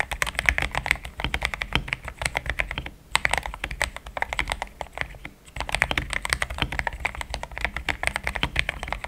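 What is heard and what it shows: Fingertips type in steady taps on a pink-framed compact mechanical keyboard with thick cream XDA plastic keycaps, a polycarbonate plate, linear switches and a hollow case. Rapid, dense key clacks carry a bright, crisp top with a low, hollow thock beneath. The typing runs nearly continuously, with brief pauses around three seconds and five and a half seconds.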